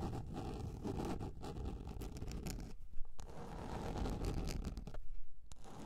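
Long red nails scratch across the surface of a large round yellow plastic container lid. The result is a steady, dense scraping rasp, heavy in low rumble, with brief lulls and a sharper scratch near the middle.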